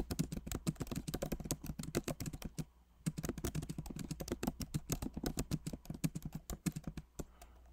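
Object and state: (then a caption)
Laptop keyboard with plastic keys. Both hands type steadily with their fingertips on a backlit MacBook Pro Magic Keyboard with plastic keycaps in an aluminum body. The keys give a dense run of quick, soft, dull clicks with a low thud. There is a brief pause just before the three-second mark, and the tapping trails off near the end.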